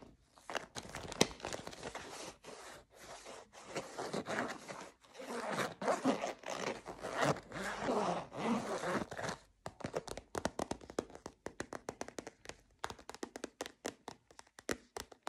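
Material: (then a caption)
Plastic. Short dark-blue painted nails scratch and tap a hand-sized, hollow, translucent orange plastic bottle that appears filled with liquid. Dense, crackly scratching fills the first half, then gives way to a quick run of sharp, clicky taps.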